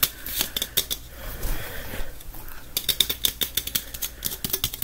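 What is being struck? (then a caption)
Aluminum drink can. A small, hollow gold Pepsi aluminum drink can is held in both hands and tapped and scratched with fingertips and nails. Quick, bright metallic clicks with a thin ring near 3.7 kHz come in a rapid series, with a stretch of softer scratching in the middle. Each tap dies away almost instantly.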